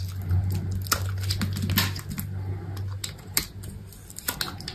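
A utility knife blade shaves and carves the corner of a solid white bar of soap held in the hand. Soft, dry scraping and crisp crackling bursts come in uneven strokes over a steady low hum, with a few sharper, brighter cuts standing out.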